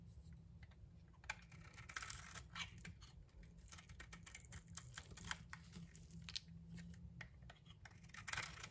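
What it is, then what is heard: Bronze-coated soap bar scraped with a blade. A utility knife blade scrapes the bronze coating off a solid pink bar of soap held in the hand, exposing the pink soap underneath. Soft, dry scratching and crackling strokes come in quick bright bursts with sharp little clicks. A steady low hum sits underneath throughout.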